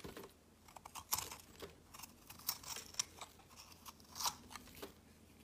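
A solid peach soap bar held in the hand has thick, crumbly flakes shaved off its edge by a metal blade in repeated strokes. Each stroke gives a short, dry, bright crunch that dies away almost at once over a faint steady hiss. The scraping comes in uneven bursts, with the loudest near the start and toward the end.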